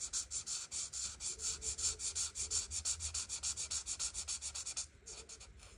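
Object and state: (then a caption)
Marker coloring on paper. A felt-tip art marker held in the fingers is rubbed back and forth over a printed paper coloring book page lying flat on a table, coloring in the white flower petals. Quick, steady scratchy strokes give a bright, hissy rasp in a rapid rhythm, then turn softer and quieter near the end.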